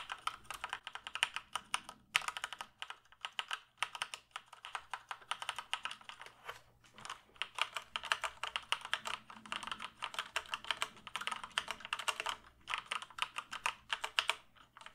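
Fingertips press and tap the keys of a full-size black plastic computer keyboard held up close, producing a steady stream of rapid, dry typing clicks. Each click is short and bright with almost no ring or low end, and brief pauses break up the flurries.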